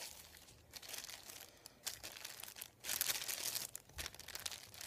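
Fingertips sweep, rub and crinkle a thin, flat sheet of printed white paper lying on a wooden table. The result is a quiet, bright, dry papery crinkling in uneven bursts, with a few louder rustling swells and almost no low end.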